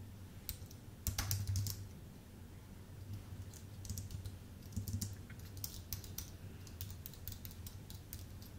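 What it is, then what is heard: Aluminium and plastic keyboard being typed on. Fingertips type on a full-size white Apple Magic Keyboard with an aluminium base and plastic keys. Quick, irregular, bright clicks come in short flurries, louder in a burst early on, over a steady low hum.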